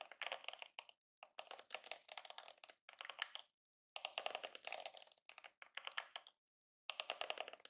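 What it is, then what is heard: Plastic hairbrush bristles flicked. Fingertips and nails press and flick the flexible plastic bristles of a yellow and pink plastic detangling hairbrush held in both hands. Quiet, dry, bright crackling comes in rapid clustered bursts separated by short silences, with no low end.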